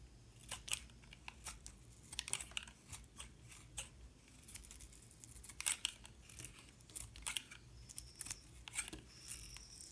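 A metal utility knife blade scrapes and cuts away the yellow outer layer of a solid yellow soap bar with a white core, held in hand. Many short, crisp, bright scraping strokes come in quick, uneven bursts over a faint low background rumble, each stroke dying away almost at once.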